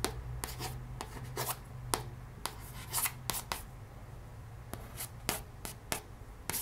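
Long red-painted nails trace and lightly tap across the glossy cover of a hardcover cardboard children's board book, "One Happy Tiger," lying flat on a wooden table. Soft scratchy rubbing is broken by 13 sharp, bright little taps that die away almost instantly, over a steady low hum.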